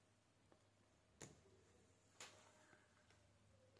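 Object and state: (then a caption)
Bar of soap shaved with a blade. A metal blade held in one hand shaves thin curls off the face of a palm-sized, solid oval bar of off-white handmade soap held in the other. Two loud, bright, crisp scrapes stand out against a quiet, steady low hum, with a few fainter ticks around them.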